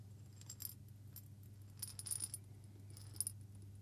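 A small hollow glass jar with a metal lid, partly filled with coffee beans, is shaken and turned by hand. It gives quiet, bright rattling and clicking in short bursts as the beans tumble against the glass, over a steady low hum.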